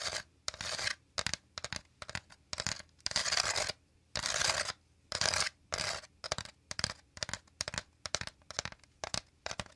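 Fingertips and nails quickly tap and scratch the woven inner surface of a shallow, empty, round woven bamboo/wicker basket held beside a binaural microphone. The result is a rapid run of dry, bright, crackly scratching bursts, some short and some longer, separated by brief silences. There is almost no low end and no ringing after each touch.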